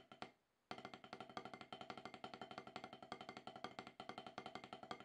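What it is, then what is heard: Rubber drum practice pad. Two wooden drumsticks tap on an octagonal HQ snare practice pad with a solid, dark rubber surface, played to shake off more than ten years of rust. Two quick taps and a brief silence lead into a steady, rapid run of short, dry, clicky strokes that center near 1.2 kHz and die away almost instantly.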